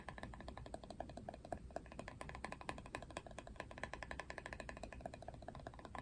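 Fingernails rapidly tap and scratch the hollow plastic back of a paddle hairbrush printed with a Barbie face. The result is a dense run of quick, dry clicks with a hollow mid-pitched knock, over a soft scratchy hiss. The clicks die away almost instantly.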